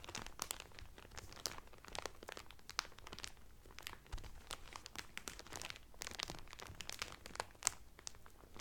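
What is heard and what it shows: Fingertips and medium-length painted nails press and crinkle the loose, thin clear cellophane wrap sealing a folded blue terry Carnival towel lying flat on a table. The result is a steady stream of bright, crackling crinkles with sharp, quick-decaying snaps and no ring.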